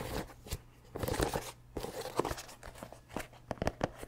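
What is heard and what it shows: Fingertips scratch and tap the rubber sole and heel of a mesh and rubber running shoe, with a synthetic upper, held up close to the mic. The result is a series of dry, crunchy scrapes and short muted knocks over a faint steady low hum.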